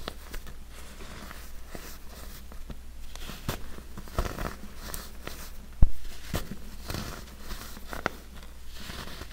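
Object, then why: Compressed baking soda chunks. Two hands crumble and rub large chunks of yellow-dyed compressed baking soda resting on a heap of loose powder, breaking pieces off with fingers and nails. Soft, dry crunching and gritty crackling run throughout, with a few sharper snaps as pieces break away. A steady low hum sits underneath.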